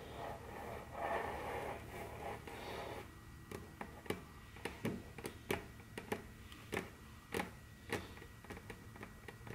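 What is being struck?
Wooden tabletop tapped and scratched with fingernails.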